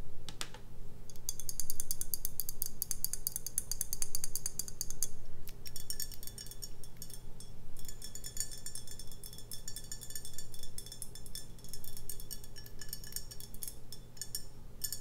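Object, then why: Glass beer bottle. A full brown glass beer bottle is tapped with long nails on its bottom and on its labeled body. The result is a steady run of quick, bright clicks with short glassy rings over a low, constant hum.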